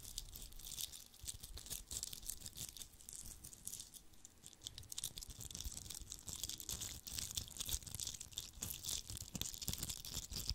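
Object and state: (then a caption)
Glitter-covered Christmas bauble being scratched. A fist-sized red Christmas bauble with a coarse glitter coating over a hollow shell, probably plastic or foam, is held in one hand and scratched and rubbed with the fingertips and short nails of the other. The result is a dense, continuous crackling and scratching with a bright, hissy top and frequent sharp ticks, over a soft low thump from handling.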